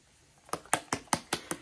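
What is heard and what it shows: A plastic bottle of zinc-based mineral milk sunscreen, SPF 30, is shaken before use as directed. Six quick, sharp clacks and sloshes come at a steady rhythm, each bright and dying away almost at once.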